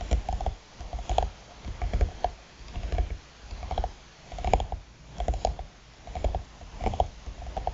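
Long nails tap and scratch the lid of a closed, hollow black hard eyeglass case with a croc-textured faux-leather cover resting on a mat. Irregular bursts of quick, dry clicks and scratchy scrapes ride over a dull, low hollow thump, each tap dying away almost instantly.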